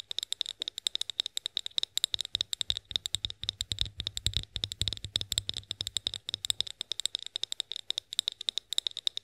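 Long nails tap and scratch a tall, hollow, clear glass olive oil bottle labelled "OIL BOTTLE." The result is a rapid, steady stream of sharp, bright clicks with a strong high ring and no lingering decay. A faint low hum sits underneath.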